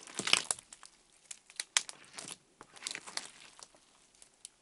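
Fingertips press, poke and squish a fist-sized blob of clear orange slime flat on a white table. The result is a quiet, irregular run of bright, crinkly crackles and wet pops, almost entirely high-pitched with no low end.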